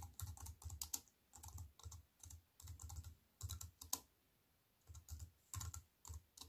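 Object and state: Plastic computer keyboard being typed on.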